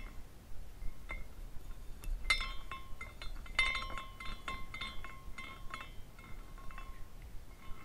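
A small clear glass carousel figurine is spun by the fingertips at the top, and its glass horses tinkle against each other. Light, irregular clinks and short bright rings sit around 1 and 2 kHz, fading quickly over a low, soft background rumble.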